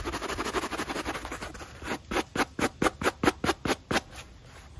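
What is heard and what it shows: A natural-bristle wooden brush scrubs a black textured rubber sneaker outsole held in hand. It starts with a rapid, dense scratching, then slows into about nine distinct, bright bristle strokes with short, dry scrapes.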